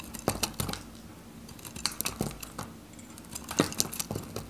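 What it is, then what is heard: Dry bar soap being cut. A solid, faceted bar of dry yellow soap is held in the fingers and cut into cubes with a metal craft knife. The sound is a run of short, crisp snaps and crackles with bright, high edges and a faint low hum underneath.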